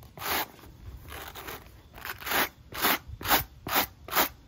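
A wooden-handled wire-bristle brush scrubs the black textured rubber outsole of a sneaker held in hand. It makes a series of bright, scratchy bristle strokes with a high hiss. The strokes are softer and blurred early on, then come as louder, sharper, more evenly spaced rasps in the second half.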